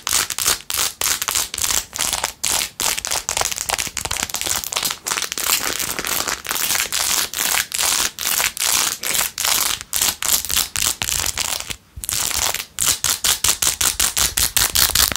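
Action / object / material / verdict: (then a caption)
scrape / rhinestone-covered plastic phone case / plastic, rhinestones / none. Long nails scratch quickly across a blue-jeweled, rhinestone-covered plastic phone case, making a bright, crackly, crinkling rasp. Rapid bursts of scratching follow one another with brief gaps, and the sound stays high and thin with almost no low end.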